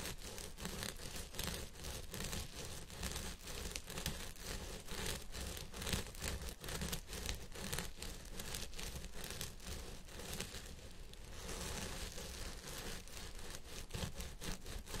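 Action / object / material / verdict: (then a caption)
scrape / synthetic fiber wig on a head form / synthetic fiber / none. Fingertips and nails of both hands scratch the fibers of a purple synthetic wig on a head form, working both sides of the crown. The result is a steady, dense scratching and rustling with a crinkly, bright texture over a soft low rumble, staying at an even level throughout.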